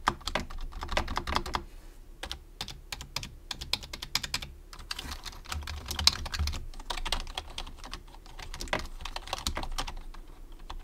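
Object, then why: Plastic computer keyboard. Fingertips type steadily across the keys of a white plastic low-profile computer keyboard, producing dense, rapid clicks and taps with a bright, crisp edge. A soft low hum runs underneath, and each keystroke dies away almost instantly.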